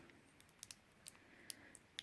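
A small container of silver glitter from a craft box is shaken to hear how it sounds, giving about eight faint, sharp, high-pitched ticks spread over a quiet hiss. The glitter is judged by eye to be traditional silver glitter.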